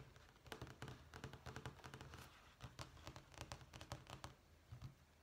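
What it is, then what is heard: Vinyl flooring sample sheet. A thin, solid beige vinyl flooring sample sheet with a small-tile pattern, on a page of a sample book, is tapped with long manicured fingernails. The result is a quick series of soft, dry taps and clicks, each with a dull low thud beneath a bright crisp edge. The taps die away almost instantly.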